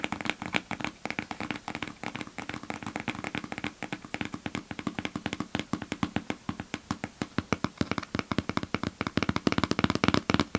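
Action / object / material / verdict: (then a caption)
tap / sealed cardboard box / cardboard / none. Fingertips and nails tap repeatedly on a small, hollow, sealed cardboard shipping box with a shipping label, held in front of the mic. Dozens of quick, dry taps each give a short hollow thump that dies away almost at once, with some brighter clicks from the nails. The tapping is steady, growing slightly louder and denser toward the end.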